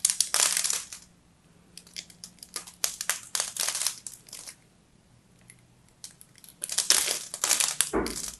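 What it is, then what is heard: Bar of soap scraped with a blade. A small metal blade scrapes and cracks a solid bar of soap held in the hand, its pink and white striped layer exposed. Bursts of bright, crisp scratching and crackling come in clusters separated by quiet gaps, with a final dull knock near the end.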